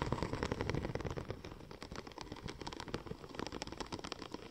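Long nails tap and scratch the embossed surface of a curved silver checker-plate-pattern vinyl wrap sheet. Quick, irregular clicks and scrapes run throughout, with a low rumbling body under crisp taps that are loudest in the first second and then settle to a steady, slightly softer patter.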